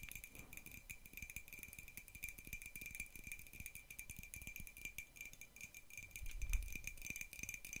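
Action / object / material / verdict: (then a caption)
tap / ceramic mug tapped with fingernails and metal paperclips / ceramic / none. Long nails fitted with metal paperclips tap and rattle rapidly against a hollow white printed ceramic mug held close to the microphone. The result is a dense stream of quick, dry clicks with a bright metallic jingle over a faint steady tone near 2.4 kHz, and a slightly heavier low thump around 6.5 seconds.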